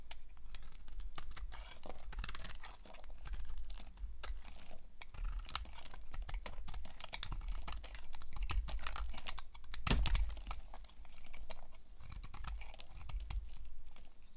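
A utility knife blade slices and shaves a solid, hand-sized bar of dry white soap into chunky flakes. Dense, crisp scraping and crackling cuts run through the clip, with a steady low rumble underneath.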